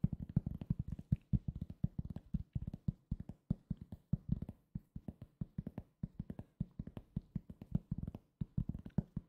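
A round, flat, solid cork coaster held near the mic is tapped with fingertips in quick, uneven bursts of about 56 short taps. Each tap is a dull, low thud centered around 150 Hz, with almost no ring and no bright edge.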